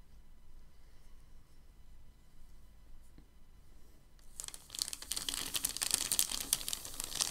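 Fingertips and palms press and smooth a large, thin, crinkled white packing paper sheet lying flat on a dark table. After about four seconds of near-quiet with a faint low hum, a dense, bright crinkling and crackling starts and grows louder, continuing to the end.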